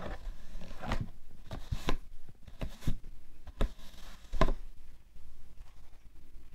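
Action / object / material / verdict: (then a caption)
tap / cardboard tissue box / cardboard / none. Fingertips and long painted nails tap and scratch the top of a closed, rectangular printed cardboard box of Shisara Kosmetiktücher facial tissues (90 pieces), which is hollow, presumably full of tissues, and lying on a fluffy white rug. Soft, dull taps with very short decay alternate with quiet, papery scratching. The sound is mostly low and muffled, with no bright ring.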